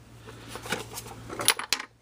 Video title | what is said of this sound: DERB - Surprise from Gary (Rebel9668) | this one has some loose parts you can hear